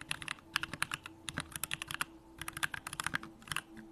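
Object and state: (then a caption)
Mechanical keyboard being typed on. A Bakeneko65 65% mechanical keyboard with a hollow aluminum case, Durock lavender switches and pink plastic keycaps is typed on continuously with the fingertips. Around 25 short, crisp keystrokes come in quick, uneven bursts, each a bright, clacky tap that dies away almost instantly, centered in the upper mids with a high edge and very little low end.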